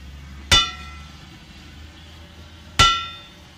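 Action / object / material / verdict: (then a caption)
tap / steel train wheel / steel / none. A steel steam train wheel is tapped twice with a control hammer. Each strike gives a bright, clanging metallic ring with a clear tone near 1.4 kHz and high overtones, fading over about half a second above a low background hum.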